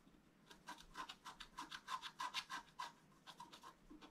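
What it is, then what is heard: Scratch-art paper being scratched. A thin wooden stylus lightly scratches a flat, black-coated scratch-art card in sixteen short, quick strokes over about four seconds. Each stroke makes a soft, dry, bright scraping hiss with a faint tonal edge, rising and falling in a loose rhythm at a quiet level with almost no low end.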